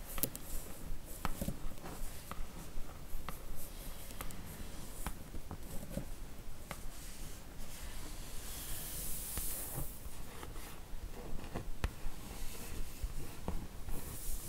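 Long nails scratch across the top panel of a printed cardboard slipcase for a Harry Potter book box set, full of books. The scratching is a steady, quiet, dry rasp with small sharp ticks. A brief, brighter hiss rises near the middle of the clip.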